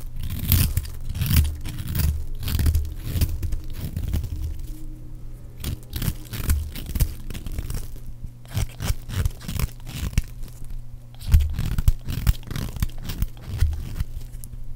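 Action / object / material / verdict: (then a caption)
scrape / bar of soap / soap / none. A metal utility blade scrapes and shaves strips off a solid, palm-sized green bar of dry soap held in the hand. Quick, dry crunching and tearing strokes come in dense clusters with a few brief pauses, carrying a heavy low thump under short bright scraping edges.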